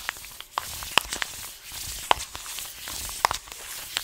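Fingers rub and scratch the paper of an orange, taped paper-foil coffee bag full of beans. A soft, steady rustle is broken by about eleven sharp, bright crackles and clicks at irregular moments, with almost no low end.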